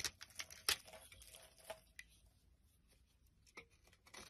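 A metal blade scrapes and cuts flaky layers from the surface of a solid green olive soap bar held in the hand. Crisp, bright scraping and snipping sounds come in irregular bursts, loudest near the start and then thinning into quieter, sparse crackles with very little low end.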